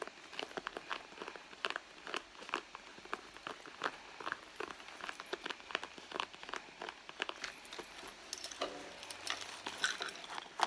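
Long blue nails scratch and rub across the soft surface of a red leather handbag. The result is a quiet, dense run of dry, bright scratches and crinkly rustles, with no low end and each stroke dying away almost at once.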